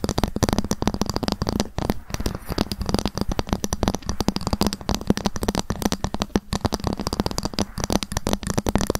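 A ruler is tapped fast with long fingernails, sometimes scratched, making a dense stream of short, dry clicks. The sound sits mostly low with a steady tone near 207 Hz, while the strokes stay tight with almost no ring.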